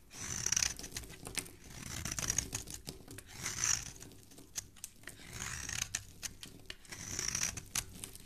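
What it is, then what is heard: Bar soap being carved. A steel utility-knife blade scrapes and carves along the edge of a hand-sized, solid green rectangular bar of Italizia soap held in fingers with dark painted nails, peeling off crumbly shavings. Bright, dry scraping swells rise and fade in repeated strokes, dotted with quick crackly ticks as the shavings break away.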